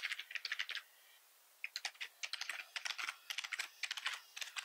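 Fingertips type on the keys of a black plastic computer keyboard. Bright, light clicking keystrokes come in quick bursts, with a brief pause of quiet hiss near the start. The sound is crisp and centred around 2 kHz, with almost no low end.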